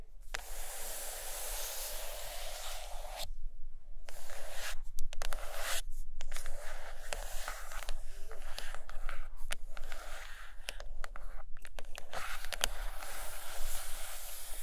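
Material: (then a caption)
Cardboard. Long acrylic nails on both hands scratch and tap the cover of a large, solid purple hardcover book lying closed on a carpet. A steady, bright, scratchy rasp runs throughout, broken by quick, dry taps and brief pauses over a faint low hum.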